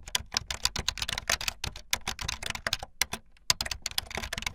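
Fingertips with long light-blue nails type fast on a full-size plastic keyboard with white, blue and yellow plastic keycaps and a blue backlit frame. A rapid, uneven stream of bright, sharp plastic clicks and clacks follows, each keystroke dying away almost instantly, with a faint low thump under some presses.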